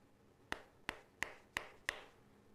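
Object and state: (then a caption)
Mobile phone giving a rattling buzz when tapped. A mobile phone is tapped five times, and each tap gives a sharp, bright click with a brief buzzing rattle centred near 2 kHz that fades quickly. This is the strange, unexplained vibration noise that both an iPhone 5 and a Samsung phone make when tapped.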